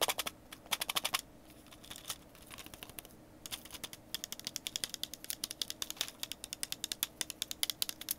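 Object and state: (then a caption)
Plastic jar with small metal pieces. A small, hollow clear plastic screw-lid jar, partly filled with small grey metal pieces that look like tacks or pins, is held in both hands, tapped with the fingertips and shaken. Rapid, bright, dry clicks and rattles come in dense bursts, ease into a softer, quieter rustling patch partway through, then return as a steady run of sharp ticks until the end. There is almost no low end.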